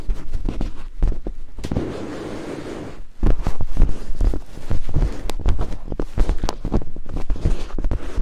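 Two thin wooden picks held in fingertips scrape and tap against white silicone binaural microphone ears. The result is a close, bass-heavy stream of rapid scratchy clicks and rubbing thumps, with a softer, smoother rubbing stretch in the middle before the quick tapping returns.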